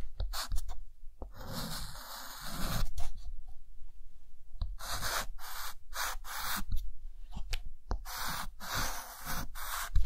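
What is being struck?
Chalk stick on a slate chalkboard.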